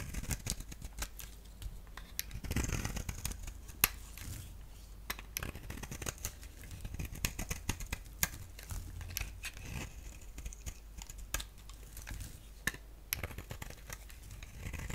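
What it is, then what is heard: Bar soap being shaved with a blade. A utility blade shaves and cuts the surface of a solid yellow-orange bar of soap with a black rim, held in the palm. Quiet, dry scraping strokes run throughout, with frequent sharp, bright clicks and crackles over a low background rumble.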